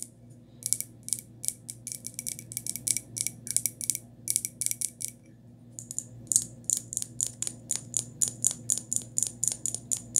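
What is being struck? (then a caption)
Small glazed ceramic cup. A small white glazed ceramic cup, held in the hand, is tapped with long nails, giving quick, bright, high-pitched clicks with almost no ring. The taps come in irregular runs, pause briefly around the middle, then resume more steadily over a faint low background hum.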